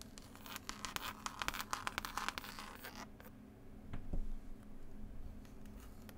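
Long pointed nails scratch and tap the green textured cloth cover of a solid, closed hardback book with a pasted illustrated label. For about three seconds there is a rapid run of bright, dry scratches and clicks. After that come softer, duller taps, including one low thump, over a steady low hum.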